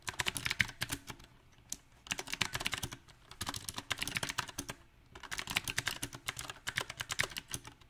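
Both hands type with their fingertips on a compact backlit mechanical keyboard with round plastic typewriter-style keycaps. Bursts of rapid, bright, clicky key taps come at an uneven pace, separated by brief pauses. Each tap is short and dry, with almost no ring.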